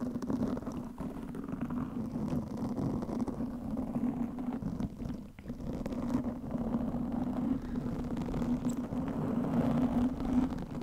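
Long nails of both hands scratch a black, soft, porous foam windscreen over a microphone. The result is a continuous, dense, rumbling scratch with a steady low hum-like tone, briefly dipping around the five-second mark before building slightly louder toward the end.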